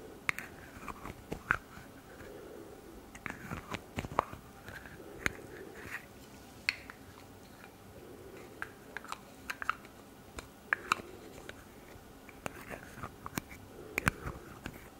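Long red nails handle and click the white plastic cap of a turquoise plastic hair-spray bottle held close to the mic. Many sharp, dry clicks and taps, bright and very short with almost no ring, are scattered irregularly over a soft, low background rustle.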